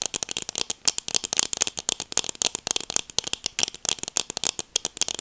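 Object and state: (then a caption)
Plastic sunglasses. Long nails scratch along the temple arm and tap the frame of black plastic sunglasses. About 33 quick, dry clicks and scrapes come in a rapid, uneven run. The sound is bright and crisp, with almost no low end and no ring after each tap.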